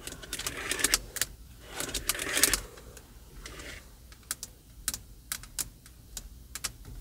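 Long purple acrylic nails tap and scratch across the hollow plastic, leather-covered airbag cover on a car steering wheel's center hub with emblem and its spoke area. Bright, crisp clicks and short scratchy rasps come in two denser bursts early on. These are followed by sparser, sharp nail taps against a quiet background.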